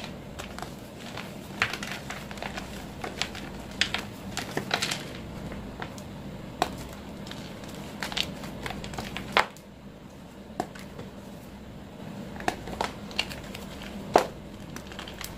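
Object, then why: Reformed gym chalk block. A large, solid, dry chunk of white reformed gym chalk is held in the hands and broken apart with the fingers into crumbling pieces above a pile of chalk powder. Soft, irregular crunches and dry crackles come and go over a faint steady low hum, with a few sharper snaps standing out.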